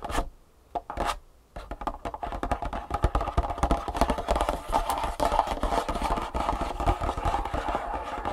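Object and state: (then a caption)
Cardboard box. A long, hollow, printed cardboard Superfeet shoe insole box lying flat on a wooden table is tapped and scratched with long fingernails. A few isolated taps give way to continuous fast tapping and scratching. The result is a dense, papery clatter with a hollow mid-range ring around 800 Hz.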